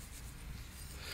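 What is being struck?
Nothing is struck.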